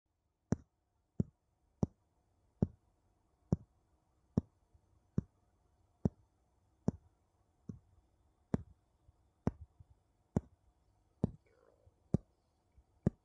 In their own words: 00:00 Tapping two wooden bowl together